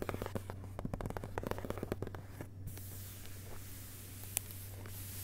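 Fingerpads of one hand tap the inside of the front cover board of an open hardcover book, a flat, solid board of cloth- or paper-covered cardboard, with the book lying on a carpet and its dust jacket unfolded beside it. Quick, soft, dull taps come in a dense run for the first couple of seconds, then thin out to a few faint, sparse taps over a steady low hum.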